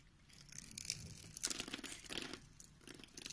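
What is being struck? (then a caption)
Bar of soap. A utility knife blade with a green handle cuts into the pre-scored grid of a solid, palm-sized pink bar of soap held in hand, then scrapes it so small cubes crumble off. The sound is a soft, bright, crackly scraping and crumbling, made of quick gritty bursts with a few louder crunchy swells.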